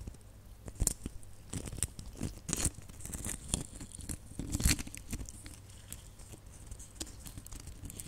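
Long nails scratch and tap across a cluster of small, hollow, red glitter-coated plastic Christmas baubles. Dry, crackly scrapes and sharp, short ticks come in irregular bursts with a bright, gritty edge, over a faint low hum.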